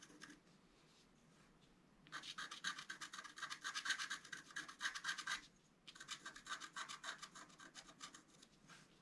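A wooden stylus rubs and scratches the coating off a flat, black-coated scratch-art card, about A4 size, lying on a table. After a quiet start, a fast run of bright, rasping strokes plays for about three seconds, pauses briefly, then picks up again in a slightly softer series of strokes.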